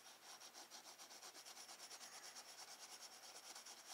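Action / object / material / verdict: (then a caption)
scrape / graphite pencil on sketchbook paper / paper / none. A woodless graphite pencil held in the fingertips shades a sphere on a thin, solid sheet of drawing paper in a spiral-bound sketchbook lying flat on a wooden desk. Quick, steady back-and-forth strokes make a soft, bright rubbing and scratching hiss that pulses about twice a second with no low rumble.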